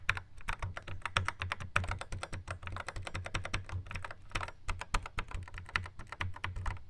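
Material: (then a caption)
Plastic. Fingertips rapidly tap the square pads of a Yamaha RX11 drum machine in a black plastic housing. Quick, dry plastic clicks come in a steady, uneven stream, each with a soft low thump beneath a brighter click and almost no ring.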